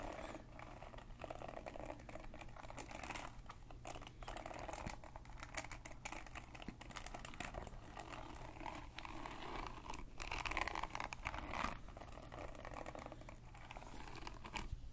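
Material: Plastic.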